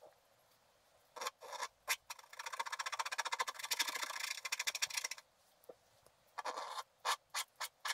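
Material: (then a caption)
Waxed paper. The side of a wooden stylus scrapes larger areas of a stocking drawing on a flat sheet of black wax-coated scratch art paper. A few short strokes lead into a dense run of rapid back-and-forth rasping, then, after a pause, several more separate strokes. The sound is dry, bright and scratchy, with no low end.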